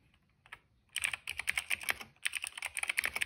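Fingertips of both hands type on a cream plastic mechanical keyboard with a hollow case and black, purple and yellow keycaps. A few soft taps open the clip, then a quick run of bright, crisp, clicky keystrokes follows, pausing briefly before continuing.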